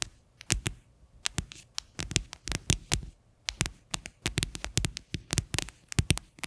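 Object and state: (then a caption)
Hollow plastic container tapped with fingernails. Long fingernails tap and scratch the base of an upside-down, hollow, white faceted plastic container. Quick, irregular clicky taps come in clusters, with short scratchy bursts between them. Each tap is bright and dies almost at once, with a little hollow low thump under it.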